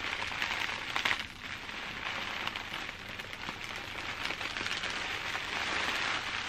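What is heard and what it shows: Clear plastic bubble wrap, held up close, is tapped and scratched with long dark nails. A steady, bright crinkling and crackling runs throughout, with a slightly louder burst of taps near the one-second mark and little low end.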